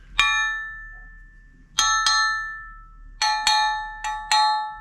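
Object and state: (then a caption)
Solid metal casting. A freshly poured metal casting for a plastic bag holder is tapped seven times, and each tap gives a bright, high metallic ring with clear tones that decays over about a second. There are no dull thuds, and the clean ringing shows the casting is solid.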